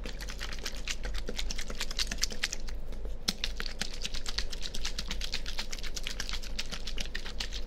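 A small, clear, partly filled plastic water bottle with a label is held by hand next to a binaural microphone and squeezed and crinkled with the fingers. It makes a dense, steady stream of quick, sharp, bright crackles and clicks over a constant low rumble, with each crackle stopping almost instantly.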